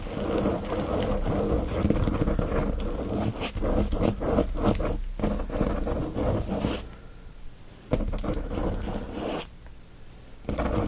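Fingertips and nails scratch fast across the glossy plastic sleeve of a flat watercolor paper pad, making a dense, crackly rasp with a low, rumbling body. The scratching runs steadily for about seven seconds, drops to a quieter rustle with a sharp scrape near eight seconds, and swells again before picking back up at the end.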